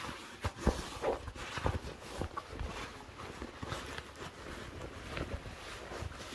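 Fingertips and short nails scratch along the woven fabric and seams of dark blue cotton denim jeans. The result is a soft, dry, close-up scratching and rustling with scattered low, muffled thumps.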